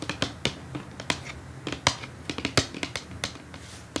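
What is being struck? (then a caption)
Cardboard gift box. Long acrylic nails tap rapidly on the lid of a brown printed cardboard perfume gift box lying flat. About seventeen sharp, bright, clicky taps come at an uneven pace over four seconds, each with a faint hollow low thud. The taps are dry and die away almost instantly.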